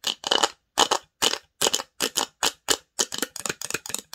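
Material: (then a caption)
Wood. Long nails scratch and tap the lid, sides and inside of a small, open varnished wooden box. The result is a series of short, dry, bright scratching bursts with no low end, separated by brief silences and coming faster toward the end.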